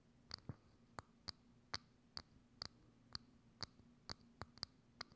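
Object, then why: Thin clear plastic dome lid. Long acrylic nails tap a hollow, thin, transparent plastic dome lid set over a microphone, giving about a dozen quick, sharp, bright clicks at uneven intervals. Each tap dies away almost at once, over a faint, steady low hum.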